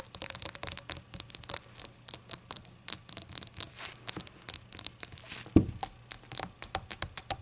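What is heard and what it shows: Long acrylic nails rapidly tap a small, hollow, empty rainbow-glazed ceramic shot glass resting on a towel, producing dozens of quick, bright, clicky taps with very short ring. A faint low hum runs underneath, and one heavier knock with a dull low thump stands out just past the five-and-a-half-second mark.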